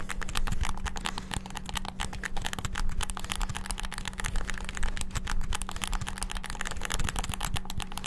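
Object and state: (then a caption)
Plastic game controller buttons. Fingertips rapidly tap the buttons of a white and black hollow plastic PS5-style gamepad. A fast, continuous stream of short, dry plastic clicks plays over a steady low hum, and each click dies away almost instantly.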